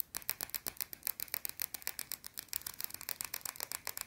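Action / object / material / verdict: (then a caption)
scrape / bar of soap / soap / none. A small, round, flat, solid white soap bar held in one hand is scratched fast with long blue-painted nails. About thirty quick, dry, bright scratching strokes follow in an uneven rhythm, each very short with almost no ring and little low end.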